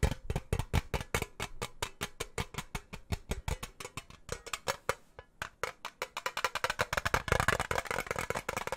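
Fingernails tap the lid and rim of a small, round, hollow blue-and-silver metal tin, like a pomade tin, held in both hands close to the mic. The result is a fast, uneven run of dozens of short, dry clicks with almost no ring and a low, hollow body. A brief pause comes midway, and the taps grow quicker and brighter toward the end.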